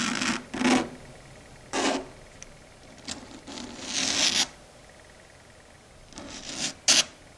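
Long red stiletto nails rub and scratch across a flat, solid dark grey chalkboard surface. Several separate bursts of bright, hissing scraping rise and fade, with a sharp squeaky scratch near the end. Between strokes there is near quiet, with almost no low-end weight.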